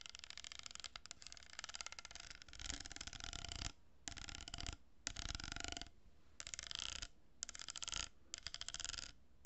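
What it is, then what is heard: Cardboard tube with plastic beads, scratched and tapped. Long nails tap and scratch the surface of a hollow cardboard tube with plastic pearl beads glued on. Bursts of dense, fast, bright scratching and clicking come in short runs separated by brief quiet gaps, with a soft low rumble underneath.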